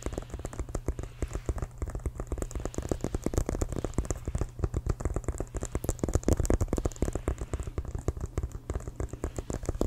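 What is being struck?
Inflated synthetic-leather football.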